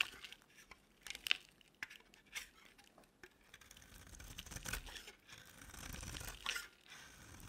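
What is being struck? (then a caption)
Bar of soap shaved with a blade. A metal box-cutter blade shaves a solid, palm-sized oval green bar of dry soap with a silver-coated back into flakes. The result is quiet, dry, crinkly scraping with sharp, bright crunches, coming in irregular strokes and a longer, steadier shave near the end.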